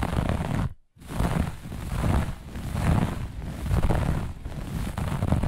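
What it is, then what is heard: Looped pile carpet scratched with nails. Long nails of both hands scratch fast across a grey-beige looped pile carpet, making a dense, rough, low-heavy rustle in uneven swells. A brief silence breaks the scratching just before the one-second mark, then it resumes without pause to the end.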